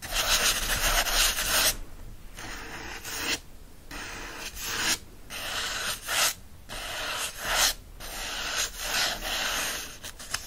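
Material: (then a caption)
Paper. Fingertips rub and scratch the printed paper pages and fanned page edges of an open hardcover book. Bright, dry, papery scratching comes in bursts of varying length, separated by short, quieter gaps.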